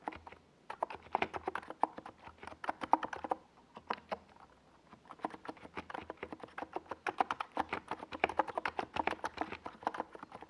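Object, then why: Plastic mechanical keyboard with tall plastic keycaps. A compact 68-key NiZ Plum Atom 68 mechanical keyboard, with a hollow white plastic case and purple and yellow Domikey Gas Attack SA plastic keycaps, is typed on by the fingertips of both hands on a desk pad. The result is rapid, dense key taps that each end almost at once, giving a mid-pitched clacky sound with short pauses near 3.5 and 4.5 seconds.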